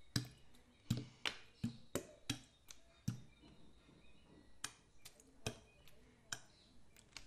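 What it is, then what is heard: Plastic bottle partly filled with water, shaken. A clear PET plastic bottle with a blue cap, partly filled with water, is tilted and shaken so the water sloshes inside, then held upright. About fourteen sharp, short splashing knocks land at an irregular pace, each with a low thud and a bright crackly edge that dies away almost at once, with quieter gurgles between them.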